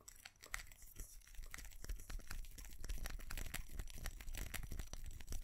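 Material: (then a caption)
Ceramic. A small white ceramic light-up Christmas tree with colored plastic bulbs is held in the hands while fingernails tap and scratch across its surface and bulbs. The result is a dense run of quick, dry clicks and crinkly scratches with no ring-out, steady over a low rumble.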